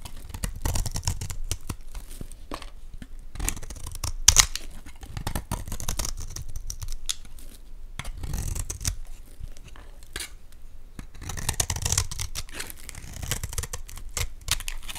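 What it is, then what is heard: Olive oil bar soap being carved. A metal blade carves crumbly flakes from the surface of a solid, greenish Dalan olive oil bar soap held in the hand. The cutting makes dry, crisp scraping and crunching sounds that come in uneven bursts, bright and hissy on top with a soft low rumble underneath.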